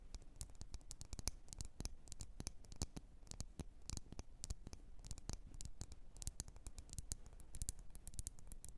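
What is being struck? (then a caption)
Glass candle jar filled with wax. Long nails tap around a lit candle in a red glass jar filled with wax. Quick, dry clicks sound in a quiet, steady run, each dying away almost at once over a low background hum.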